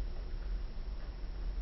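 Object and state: Nothing is struck.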